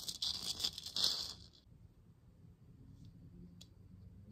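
Long nails scratch and tap on a hollow plastic moon lamp sphere, lit purple with a hole in its base visible. A bright, dry scratching rattle fills the first second and a half, then fades to near silence with a few faint, light ticks afterward.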